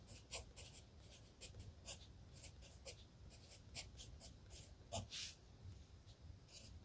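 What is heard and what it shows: A wooden pencil writes continuously on the lined paper of an open spiral-bound notebook lying flat on a desk. Its graphite tip makes soft, dry scratches in short, bright bursts of stroke noise over a steady low rumble. The sound stays quiet and close, and each stroke dies away almost at once.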